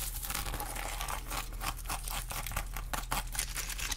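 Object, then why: Pineapple rind. Long glittery acrylic nails scratch the rough, scaly rind of a whole fresh pineapple, shown up close. Dense, crinkly scraping comes in quick, bright bursts over a steady low hum, with each stroke dying away almost at once.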